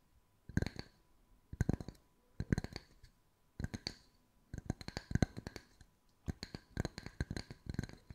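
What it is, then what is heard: Wooden slice coasters. Long white nails tap the flat faces of a pair of identical solid round wood slice coasters with bark edges, one held in each hand. Quick bursts of dry, clicky taps come in separated clusters, each tap a short low knock with a bright click on top. The taps die away almost instantly, with quiet gaps between bursts.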